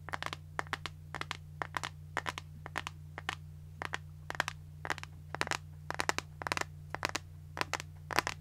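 An empty, clear transparent plastic iPhone case is tapped and scratched with long nails close to the mic, making quick, bright, crisp clicks and crackly scratches in irregular clusters. A steady low hum runs underneath throughout.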